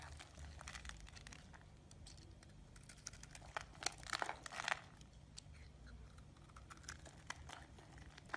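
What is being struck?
Bar of soap scraped with a metal blade.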